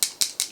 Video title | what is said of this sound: Testing Rare Beauty By Selena Gomez... Is The Hype Real? My Honest Opinion | there's actually a little ball in here you can hear it